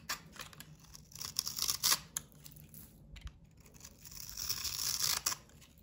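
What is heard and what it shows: A solid rectangular bar of cream soap coated in blue glitter and red heart sequins is held in one hand and shaved with a box cutter blade, producing crumbly shavings. The blade makes bright, dry scraping and crackling strokes in irregular bursts, growing louder in two longer stretches with quiet pauses between.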